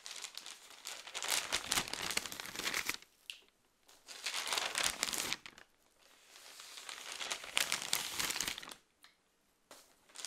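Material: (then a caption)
Paper. A thick newsprint newspaper is held in both hands while single pages are flipped quickly with the fingers. It makes bright, dense crinkling and rustling in long bursts, separated by short near-silent gaps. There is almost no low end, and a few brief rustles come near the end.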